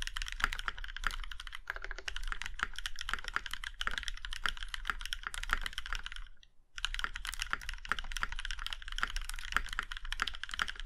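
Fingertips of both hands type steadily on a compact Iron165 mechanical keyboard with a plum-red aluminum case and black keycaps. The keys give a fast stream of short, crisp clacks centered around 1.4 kHz, each with a bright top and a soft low thud beneath it. The typing pauses briefly about two-thirds of the way through, then resumes at the same pace.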